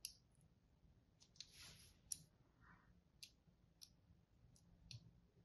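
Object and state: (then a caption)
Bar soap being scored. A small, thin pointed tool held by the fingertips repeatedly scores and scratches into the dry surface of a blue-and-white striped solid bar of soap held in the hand. Seven sharp, bright clicking scrapes are heard, along with a brief longer rasp, over a quiet low background hum. Each scrape stops almost instantly, with no ring.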